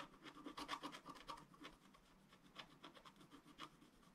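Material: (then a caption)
Waxed paper. A pointed wooden stylus scratches lines into the right side of a thin, black, wax-coated scratch-art paper sheet lying flat on a table. Short, dry, raspy strokes repeat in quick succession, with a bright hiss and a papery mid-range scrape. They fade briefly to a quieter stretch midway before resuming.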